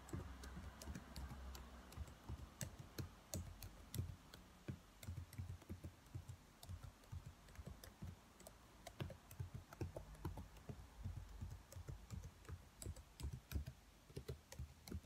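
Long nails tap slowly on the black plastic keys of a dark laptop keyboard. The sound is a quiet, irregular run of short, dry clicks with bright tips over soft low thumps.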